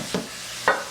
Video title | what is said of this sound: Homemade fresh baked bread! | it sounds hollow inside so it's gonna be really good